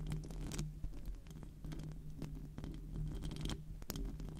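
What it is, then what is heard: Metal microphone grille. Long, decorated acrylic nails scratch and tap the hollow metal mesh grille of a silver microphone cupped in both hands. The result is a continuous, close, low-heavy rumbling scrape broken by short, dry taps and occasional bright scratchy flicks that die away almost instantly.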